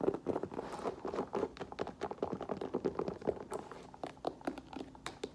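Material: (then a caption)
Rubber. Long nails tap quickly and unevenly on the black rubber lug sole and hollow rubber heel of an olive faux leather boot as it is moved and tilted in the hand. The taps are short, dry and muted, with a hollow tone around 400 Hz, and faint handling rustle sits between them.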